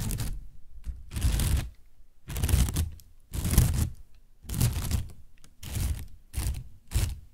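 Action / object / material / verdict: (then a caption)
scrape / partly inflated plastic bag / plastic / none. Fingernails tap and scratch a partly inflated, hollow white plastic bag. Bursts of bright crinkling and scratching alternate with short pauses, each carrying soft, low, hollow thumps from the taps.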